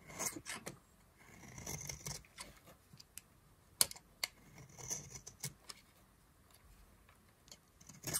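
A solid yellow oval bar of dry soap, held in a hand with long glitter nails, is carved into curls with a knife blade. Crisp, bright scraping and shaving strokes come in short bursts, with sharp clicks of the blade between them and brief quiet gaps.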